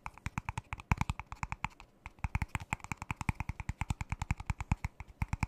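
A single thin, ribbed, disposable clear plastic cup, empty and hollow, is held upside down in one hand close to the microphone and tapped with the fingertips and fingernails. Dozens of quick, dry taps each pair a soft low thump with a crisp, bright click and stop almost instantly, with a short lull near the middle before the steady tapping resumes.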